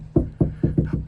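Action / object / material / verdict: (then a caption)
knock / steel car door panel / steel / undamped. Six knuckle knocks on the rear door of a 2019–2024 Toyota RAV4, a steel panel with no sound deadening yet. Each knock gives a loud, hollow, resonant thud with low-frequency boom and a short ring. It is noticeably louder than the front door, which has already been treated.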